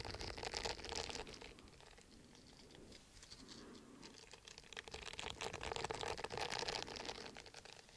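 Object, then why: Silicone bristle face scrubber pad. Fingernails scratch across the bristled surface of a round, palm-sized orange silicone exfoliating face scrubber pad, flat and solid, held up beside the microphone. A dense, bright, crinkly scratching patter runs throughout, louder in the first second and again in the last few seconds, with a softer, quieter stretch in the middle.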